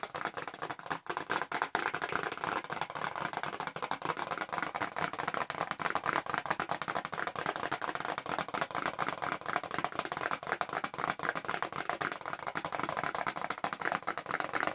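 Long acrylic nails tap fast on a small pink printed cardboard press-on nails box held in both hands. The result is a dense, steady stream of dry, light clicks that run continuously for about 15 seconds, centered in the midrange with almost no low end and very little ring.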